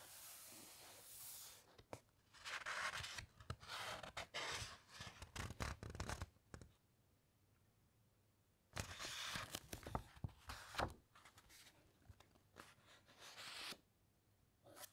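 A flat hand and long nails rub and scratch across the thick paper pages of an open encyclopaedia, with a page turn. Bursts of dry, bright scratching and rustling come in uneven clusters, separated by quiet pauses.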